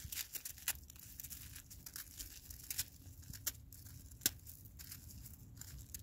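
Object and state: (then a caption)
Icy, hard-packed snowball. A black-gloved hand squeezes a solid, palm-sized ball of granular, icy snow that has turned to ice. The fingers work it in a steady stream of dry, bright crunches and crackles, punctuated by a few sharper snaps. Each sound cuts off almost instantly over a faint low rumble.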